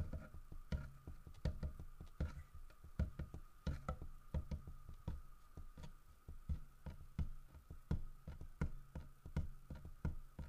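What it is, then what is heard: Carved wooden bear statue. Fingertips tap and knock on the carved body of a large, solid carved wooden bear statue. The result is a quiet, uneven series of short, dull, low knocks that stop dead without ringing, over a faint steady mid-pitched hum.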